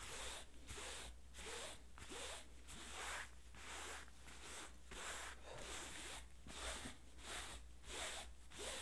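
Hands in yellow rubber gloves rub and scratch the flat-lying light blue denim of an old pair of jeans with their fingertips, near a stitched seam. The result is a steady run of bright, rasping scratch strokes at a loose rhythm, which the gloves may add squeaks to, over a constant low hum.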